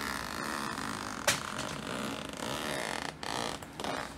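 A hand with long light-tipped nails pulls the small metal zipper slider along the side seam of a black woven nylon backpack resting on a wooden floor, while the other hand holds the bag. Repeated zip strokes make a steady, bright rasping texture with a sharper burst near the start and short pauses between strokes.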